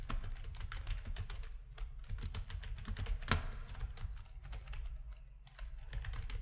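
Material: Plastic.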